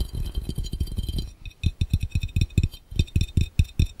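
Fast tapping on a glass fishbowl held over the camera makes quick glassy clinks with a low thud beneath. A rapid run of taps in the first second and a bit gives way to a short pause, then slower, evenly spaced taps follow.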